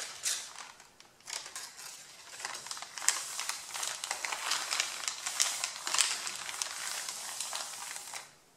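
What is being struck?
Stack of printer paper sheets.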